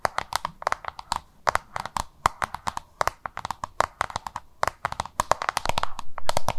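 Long nails tap and scratch a small, hollow, oval yellow-green plastic lunch box held in both hands. Dozens of quick, irregular, sharp clicks with a hollow tone around 1 kHz are mixed with brief scratchy rasps. Each click dies away almost at once, and the scratching thickens into a steadier rustle near the end.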